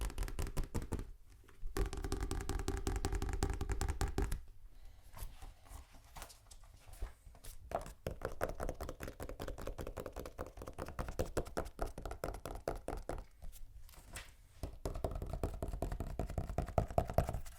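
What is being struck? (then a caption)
Hardback book, cardboard cover. Fast, aggressive tapping on a hardback copy of Hamlet, the first book in a collection. Dense, irregular dull thuds come at roughly two and a half per second, heavy in the low end with very little brightness and almost no ring, with louder bursts separated by brief quieter gaps.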